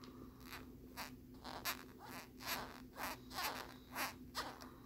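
Fingernails scratch along the ridged back of a hard plastic lenticular phone case with a peace-sign print. The result is a series of short, dry, bright rasping strokes that come at an uneven pace, about one per second. A faint steady low hum runs underneath.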